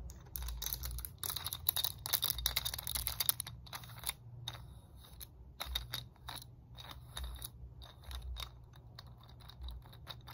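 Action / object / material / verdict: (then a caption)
tap / hard plastic segmented roller stick / hard plastic / none. Long nails tap quickly across the segments of a red, segmented hard plastic muscle roller stick. The result is rapid, bright, clicky plastic taps: a dense flurry for the first few seconds, then sparser taps over a low, steady rumble.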